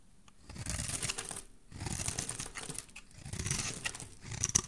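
A solid rectangular teal soap bar held in the hand is scraped and shaved with a metal utility blade, curls falling off. Three bursts of dry, crisp scraping with bright hiss and a low rustling body, separated by short pauses, with sharp ticks near the end.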